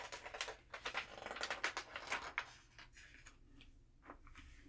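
Thin glossy pages of an open trade magazine lying on a table are flipped by hand, with long nails catching the page edges, then palms rub flat over the pages. Quick, crisp, bright paper snaps and crinkles come in an irregular run for the first two and a half seconds. The sound then drops to a soft, quiet hiss of rubbing with a few light ticks.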